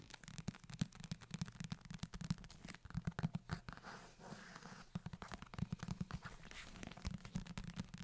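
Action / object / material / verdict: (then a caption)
tap / leather-covered book / leather / none. Fingertips tap and scratch the cover of a closed, solid book bound in brown leather or faux leather, and then both hands hold it near the mic. Quick, dry taps with no ring sound as soft, low thumps, mixed with faint, crackly scratching across the surface.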